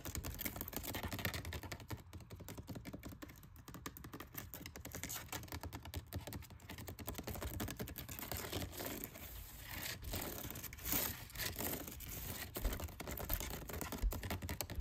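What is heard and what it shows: Fingernails rapidly tap and scratch the textured side of a dark plastic woven-pattern storage basket. A dense, irregular run of quick dry clicks and rasping scratches continues throughout, with a few sharper taps standing out near the end.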